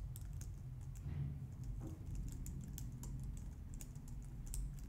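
A low-profile white/light-grey plastic wireless keyboard, resting on a glitter mat on a wooden desk, is typed on with long painted nails and fingertips. Quick, light clicks and taps run in a steady stream, with bright ticking over a soft, constant low rumble.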